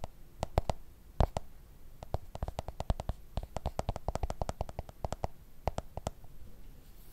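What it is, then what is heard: Smartphone in plastic case. A black smartphone in a plastic case is held sideways above the microphone and tapped repeatedly on its back with fingertips and nails. The result is a quick, irregular run of short, dry taps and sharper clicks with a heavy low thump and no ringing.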